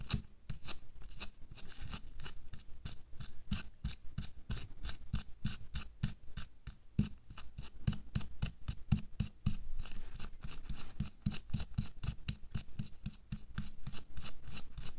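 A thin pink latex or nitrile disposable glove is worn on a hand lying flat on a white table while the fingertips and short nails of the other bare hand scratch and rub across the gloved back of the hand. A steady run of quick, crisp scratching strokes rasps out, each a short dry burst with a bright crackle over a soft low thump, keeping a busy, even rhythm throughout.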